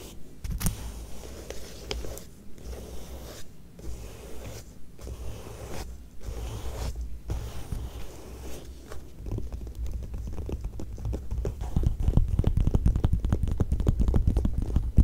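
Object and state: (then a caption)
Glossy magazine paper. Long nails scratch and trace the glossy paper pages of an open Vanity Fair magazine lying flat on the same spread, using both hands. Short scratching bursts separated by brief pauses give way, after about nine seconds, to a denser, faster run of scraping strokes that grows louder toward the end.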